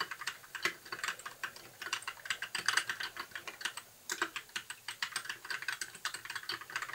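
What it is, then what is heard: Plastic mechanical keyboard. Fingertips of both hands type continuously on a compact white mechanical keyboard with backlit plastic keycaps. The result is a fast, steady stream of short, bright clicks and clacks, with a brief pause a little after four seconds before the typing picks up again.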